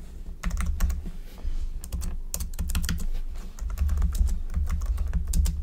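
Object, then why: Plastic computer keyboard. Fingertips of both hands type rapidly on the hollow-bodied keys of a black plastic computer keyboard resting on a desk. A fast, continuous stream of short, bright clacks rides over a steady low rumble.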